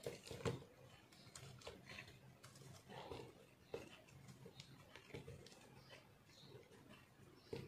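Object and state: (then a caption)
Soap bar being carved. A metal knife blade scrapes and carves dry, crumbly chunks from a solid pink soap block held in the hand. The result is a quiet, gritty, low crunching with sharp scraping clicks throughout, the loudest near the start and end.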